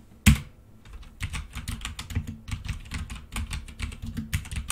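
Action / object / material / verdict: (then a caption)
tap / plastic mechanical computer keyboard / plastic / none. Both hands type with their fingertips on a black plastic full-size mechanical keyboard with red keycaps resting on a desk. A sharp, loud key strike comes first, then a brief quiet, then steady rapid tapping. The keystrokes have a low, thumpy body and short, bright clicks.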